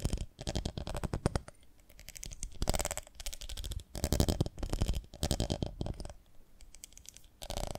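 Long nails tap rapidly in bursts on the sides of a ribbed, beehive-shaped glass jar full of honey, held in the hands with its glass lid and dipper in place. The result is dense clusters of dull, low-heavy clicks with bright ticking edges, separated by short quiet pauses.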